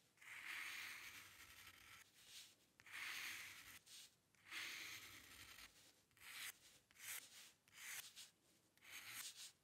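The metal nib of a dip pen scratches across a flat sheet of white drawing paper, drawing long curved lines. Three long, bright, hissing strokes centered around 2 kHz are followed by a quicker run of shorter scratches, with brief quiet gaps between them.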